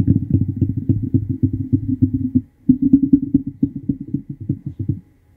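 A fingernail strums along the teeth of a large, solid, wide-tooth yellow plastic comb held above the microphone. It makes a rapid, scratchy run of short, dull, low-pitched clicks with no bright edge. The run pauses briefly near the middle, resumes, and tapers off before the end.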